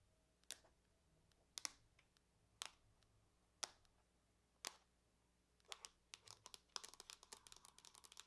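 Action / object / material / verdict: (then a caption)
tap / aluminum laptop lid / aluminum / none. Long fingernails on both hands tap the lid of a closed, silver aluminum laptop, a thin hollow shell. Five slow, separate, bright clicks come first, then a quicker flurry of light taps. Each click is sharp and dies away almost instantly.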